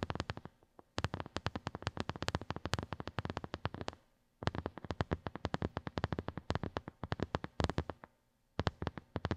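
A small, hollow white silicone phone case with raised square bumps rests on carpet and is tapped fast with the long nails of both hands. Rapid runs of short, dry clicky taps with a soft low thump come in bursts, broken by brief pauses. The taps die away almost instantly with no ring.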